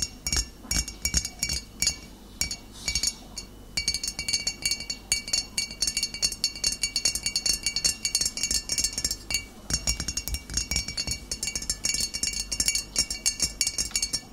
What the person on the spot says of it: ASMR Tapping Glass Bottle (No Talking)